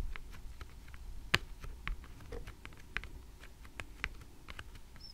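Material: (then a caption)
Laminated cardboard. A small stack of thick laminated cardboard flash cards with a pink 'Numbers' cover lies flat on a table while long red-painted nails tap and scratch the top card. Sharp, bright clicks come in an irregular patter over a low rumbling background, with one louder tap standing out early on and soft scratching between them.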